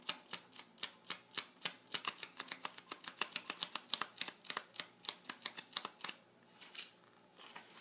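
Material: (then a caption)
Glossy paper. Fingertips and short nails of both hands scratch and tap on the glossy printed page of an open car magazine lying flat on a table. A rapid, uneven stream of about 39 crisp, bright ticks and scrapes with almost no low end, each dying out at once, easing into softer scratching near the end before the taps return.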